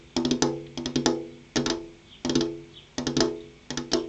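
The tips of long purple-painted fingernails tap a large, solid, flat glass window pane in six quick bursts of clicking taps. Each burst has bright, sharp attacks over a ringing, pitched body tone that fades in a fraction of a second before the next burst.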